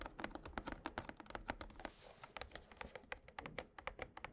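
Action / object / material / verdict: tap / printed cardboard deck box filled with cards / cardboard / none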